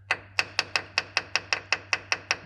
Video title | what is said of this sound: How to fix your VW T3 T25 Vanagon Syncro Diff Locks *FULL VIDEO | That suggests to me that that's hitting the high points.